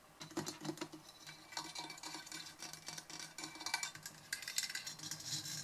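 Long nails scratch and tap the round metal mesh grille of a silver Blue Yeti USB microphone standing upright, briefly touching its side knobs. The result is a close, dense patter of bright, crisp scratches and clicks with very short decays and little low end.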